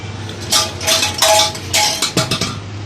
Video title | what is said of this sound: How to repair motorcycle silencer bad sound exhaust silencer bad sound repair CD 70 CC | ये देखें दोस्तों, ये आवाज़ कर रहा है